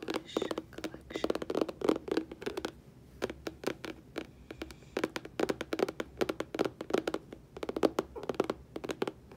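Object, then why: Cardboard packaging box. Long painted fingernails tap and scratch across a flat, medium-sized, hollow rainbow holographic cardboard packaging box for a nail polish collection, its contents not visible. Quick, dry clicks and scratchy taps come in rapid bursts with short pauses between. Each tap is brief with almost no ring, and the sound sits mostly in a mid-range papery tone.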